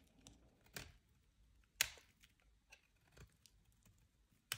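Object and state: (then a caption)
Dry bar soap being scraped. A metal utility-knife blade carves and scrapes chips off the bottom edge of a solid, dry, hand-sized white soap bar held in the hand. Four crisp, bright scraping cuts stand out with faint crumbly scratches between them, all quiet and dry with almost no ring or low end.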